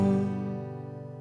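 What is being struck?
Nothing is struck.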